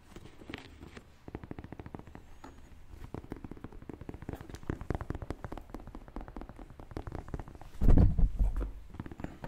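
Fingernails tap and scratch the leather upper of a white, black and purple Air Jordan 1 Mid high-top sneaker, a hollow shoe held up in the hands. Quick, uneven clicks run throughout with a dull, low body, and a louder rough scratching burst comes near the end.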